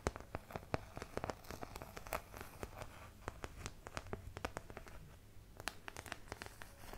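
Long nails scratch and tap a small, thin, empty white plastic artist palette with a thumb hole, held close to the mic. The result is a quiet, fast, irregular run of sharp, bright clicks and dry scratches, each dying almost instantly, over a steady low hum.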